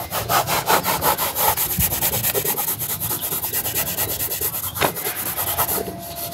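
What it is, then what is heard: Leather boot being buffed with a cloth. A cloth is pulled rapidly back and forth around the leather upper of a black leather Dr. Martens boot worn on a foot resting on a shoeshine stand. The result is a steady, rhythmic rubbing and buffing with bright swishing strokes, roughly 19 passes at close to three per second.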